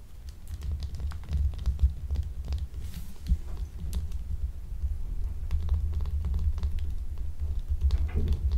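A small, solid, translucent blue gemstone-shaped glycerin soap bar is held in one hand and scratched with long acrylic nails. The scratching comes as a dense run of quick, dry clicking taps over a steady low rumble, with short bright ticks scattered throughout.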